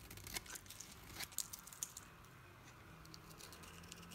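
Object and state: Bar soap being carved with a knife.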